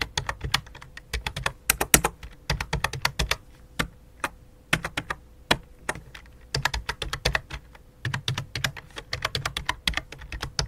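A full-size white and light-blue plastic computer keyboard resting on black cloth is typed on with both hands, fingertips and long dark nails making rapid key taps. Dozens of sharp, bright clicks come in quick bursts with short pauses, each dying away almost instantly over a low thump and a faint steady hum.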